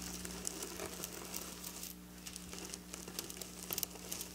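Long black nails scratch and trace across flat silver sequin fabric, making quiet, bright, crinkly scratching with brief sharper ticks. A steady low hum runs underneath the whole time.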